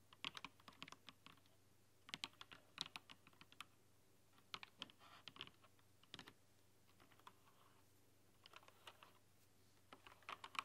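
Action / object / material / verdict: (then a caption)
tap / mechanical keyboard with plastic keycaps / plastic / none. Fast typing with fingernails and fingertips on a rainbow-backlit mechanical keyboard with plastic keycaps produces quick bursts of sharp, bright clacks over a faint steady low hum. The clicks come in irregular flurries, with a longer quiet stretch near the middle before the typing picks up again.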